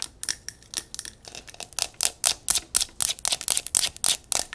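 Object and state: Mercury glass candle jar.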